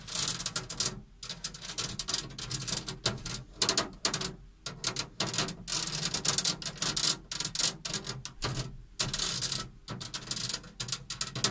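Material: Metal.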